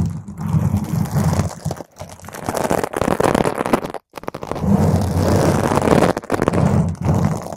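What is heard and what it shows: Long stiletto nails on both hands scratch and claw a round purple foam microphone windscreen. This produces dense, rough crackling and scraping with a heavy, rumbling low end. The scratching is nearly continuous, with a short silent gap midway.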